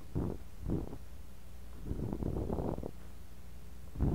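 A bamboo ear pick scrapes and digs through kinetic sand filling a clear glass cup, right beside a mini mic buried in the sand. The close mic picks up muffled, low, crumbly scraping bursts with a soft rumbling texture, separated by brief quiet gaps. A denser stretch of digging falls in the middle, and one last scrape comes at the end.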